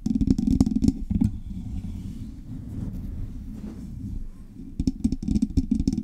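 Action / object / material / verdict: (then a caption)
tap / metal microphone body / metal / none. Long fingernails tap and scratch the hollow metal cylindrical body of a silver Blue Yeti style microphone with knobs, held in both hands. Quick bursts of close, bassy taps open the clip, give way to a steady low scratching rustle, and return as rapid tapping at the end.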